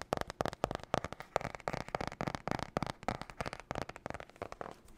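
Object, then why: Cardboard-covered spiral notebook. Fingernails rapidly tap and scratch on the cardboard cover of a glossy marbled spiral notebook held upright. The result is a fast, irregular stream of short, dry clicks with a mid-range hollow tone, separated by light scratchy rustling, with almost no ring after each tap.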